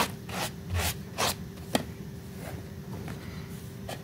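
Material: Fabric.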